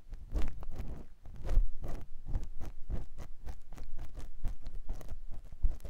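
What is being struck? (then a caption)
Silicone ear of a binaural microphone, scraped with a silicone ear pick. A clear silicone ear pick with a yellow handle scratches inside the ear canal of a white silicone ear mounted on a square microphone block on a tripod. Close, soft scraping and rubbing strokes repeat in quick succession, dull and heavy in the low end with short bright flicks at each stroke.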